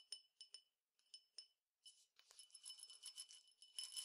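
A clear glass tumbler, partly filled with peppercorns (small dry grains), is held in hand and tapped with the fingertips, giving six separate short, bright clinks with a ringing tone near 3 kHz. It is then shaken, producing a denser, continuous high rattle and clinking of the grains against the glass, all at a quiet level with no low end.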